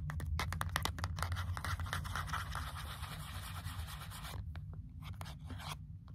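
A small, hollow, printed cardboard product box is held in both hands while long natural nails tap and scratch along its sides and edges. Quick, irregular clicky taps and dry scratching ride over a low, hollow, papery rumble. Toward the end it grows quieter and the taps thin out.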